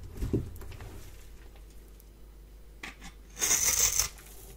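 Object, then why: Bar of soap. A palm-sized, dry rectangular bar of yellow soap, held in one hand, is scraped with a metal blade. A soft low knock and faint scratching lead into a brief scrape, then a louder, bright, hissing rasp as the blade drags across the surface. Crumbs fall off the bar.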